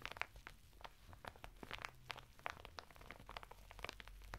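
Fingertips scratch and rub the textured surface of a flat bath mitt made of coarse woven natural fibre, sealed in a thin printed plastic packet and lying sideways on a table. A rapid series of short, dry crinkling and crunching scratches is heard, bright and crisp, with a low, steady background hum underneath.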